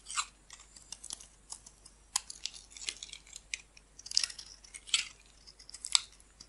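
A metal blade shaves and cuts green flakes off a solid, hand-sized oval bar of green soap held in the palm, with the shavings collecting around it. Quiet, irregular, crisp scraping and crackling cuts come in short bursts, bright and high with almost no low end.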